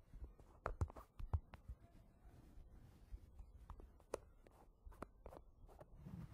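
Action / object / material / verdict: tap / plastic jar with plastic lid / plastic / none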